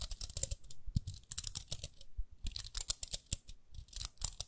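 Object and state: Plastic round hairbrush.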